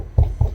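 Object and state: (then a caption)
Hollow wall section with no stud behind. Two knocks on a house wall give a dull, hollow, low thump with a short ring, marking a spot with no board (stud) behind it. That makes it a spot to avoid when choosing where to nail.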